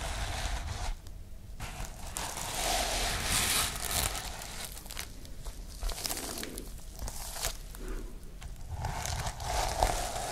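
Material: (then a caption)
Sequins. Fingertips and nails brush and scratch across the sequins of a sequin-covered notebook with white page edges, held up close. Dense, bright scratchy rustling and crinkling comes in uneven bursts with short quieter gaps, and a steady low rumble sits underneath.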